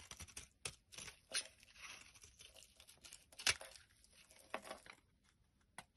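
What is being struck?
Solid bar of soap.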